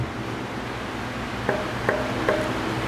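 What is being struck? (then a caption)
Alder solid-body guitar body. Another alder guitar body is tapped with two fingers for comparison: three quick, dull knocks each give a short ringing tone near 625 Hz over a steady low background hiss. It sounds different from the previous body.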